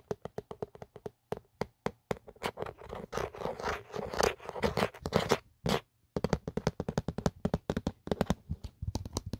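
Fingertips and short nails scratch and tap along the ridged geometric inner surface and camera cutout of an empty black Otterbox plastic phone case, a hollow shell. Quick, dry clicking taps give way to a denser stretch of rough, scratchy scraping in the middle. After a brief pause, rapid, hollow-sounding taps resume.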